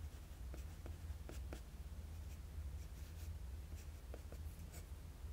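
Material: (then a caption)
Paper. A wooden graphite pencil makes sketching strokes on a flat sheet of drawing paper. Short, soft scratchy strokes come in quick pairs with a faint bright edge, over a steady low hum that carries most of the sound. The whole clip stays quiet.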